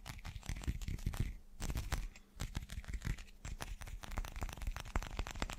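A hand-sized, irregular, solid translucent teal chunk that looks like rough glass, though it may be clear resin, is held in both hands and tapped quickly with fingertips and short nails. The result is a fast, dense stream of dull, low thuds with small sharp clicks that die away almost instantly.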